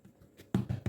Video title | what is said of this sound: Easy Homemade Bread Baking Tutorials | To check if your bread is well cooked inside, when you tap it, you should hear an hollow sound like this.